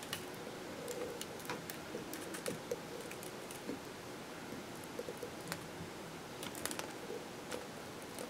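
A metal kitchen knife scrapes and shaves the end of a solid, palm-sized green bar soap held on paper, and soap crumbs fall onto the paper. Soft, steady scraping runs throughout, broken by brief crisp clicks and ticks with a faint mid-pitched tone.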